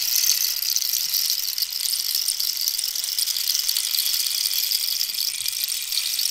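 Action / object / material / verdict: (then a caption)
scrape / dried cactus wood rainstick / cactus wood / none. Long nails scratch the ridged surface of a hollow, dried cactus wood rainstick held diagonally. A steady, bright, high scratchy rasp continues for about six seconds with almost no low end.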